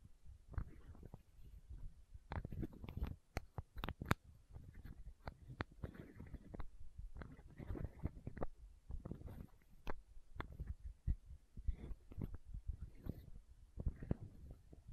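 Long nails tap and scratch a small, hollow, clear plastic eye drop bottle held close to the microphone. Quiet, soft clicks and scratchy brushing come with a low, thumpy body and little brightness, each tap dying out almost at once.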